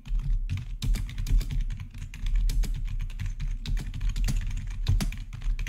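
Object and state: Plastic gaming keyboard being typed on.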